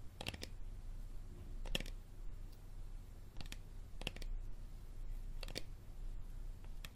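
Fingernails tap and scratch the label area of an empty, hollow, clear plastic Dasani bottle with a green cap, held upright. Short, dry, bright clicks arrive in small clusters over a steady low rumble, with no ringing afterward.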